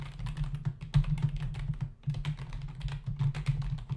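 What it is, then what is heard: Plastic computer keyboard. Fingertips of both hands type fast on a full-size black plastic membrane computer keyboard with hollow keys, resting on a desk. The result is a dense, rapid stream of soft, dull key taps with short decays. The sound sits in a low, thumpy range with a steady low hum, with a brief lull around the two-second mark.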